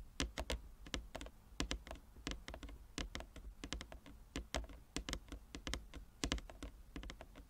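Both hands tap quickly with long nails and fingertips on a large, flat wooden chess board with inlaid squares. The result is a rapid, uneven run of crisp clicks with bright ticks over a soft low thump, each dying away almost at once. Lighter taps fill the gaps between louder accented strikes.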